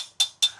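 Two sharp taps on the loose steel spoke, marked with green tape, on the rear wheel of a 2023 Triumph Tiger 900 Rally Pro. Each tap is a short, bright, high-pitched tick near 3.5 kHz that dies away almost immediately. The spoke sounds dead compared with the neighbouring spoke, showing it is loose; it is later tightened or replaced.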